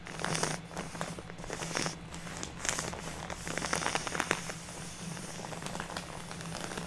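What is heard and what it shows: A full purple plastic bag of artificial snow is tapped and scratched with long natural nails of both hands, giving a dense stream of crisp crackling and crinkling taps over a soft rustle. A steady low hum sits underneath throughout.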